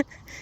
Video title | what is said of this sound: ON S'ENNUIE MAIS C'EST COOL -- LE PIRE VLOG 🤭 | j'ai tapé dedans ça sonne creux